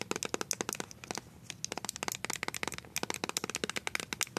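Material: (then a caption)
Plastic. Long nails fitted with colored coated-wire paper clips rapidly tap a small white plastic BB cream squeeze tube with a blue cap that appears filled with cream. About 30 dry, bright clicks come in quick irregular bursts with brief pauses. Each tap stops instantly, with no ring.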